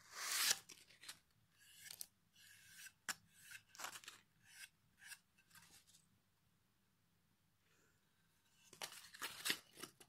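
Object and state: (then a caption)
Pine wood board being sanded. The edge of a solid pine plank with a knot is rubbed with sandpaper held in the fingers. A series of short, bright, scratchy rasping strokes is heard, then a quiet pause before a final louder flurry of strokes. There is no low rumble and almost no ring after each stroke.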